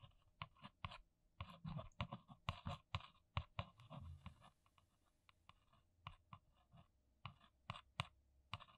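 A single long nail taps and scratches the top of a flat, hollow brown printed cardboard box. About two dozen quick, dry taps each land with a hollow low thump and a bright clicky tip. A short scratchy rasp runs across the surface midway before the light, uneven tapping resumes.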